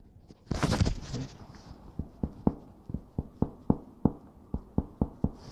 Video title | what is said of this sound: Dasar-dasar Pemeriksaan Fisik | Kalau ada rongga udara ya di bawah permukaan yang kita ketukan maka itu akan menemukan namanya resonansinya gemah